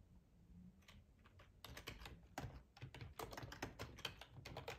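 Fingertips tap the keys of a black plastic, hollow-bodied split ergonomic keyboard in an uneven run of quick, dry clicks. Each key strike is short and bright with a hollow plastic clatter and almost no ring, over a faint low background hum.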